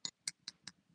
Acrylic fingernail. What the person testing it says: that sound is not dry yet